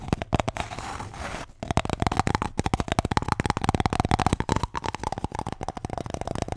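A paper toilet roll is tapped and scratched. A short stretch of soft, rough scratching gives way to a fast, dense run of dry, low taps, with a faint steady hum underneath.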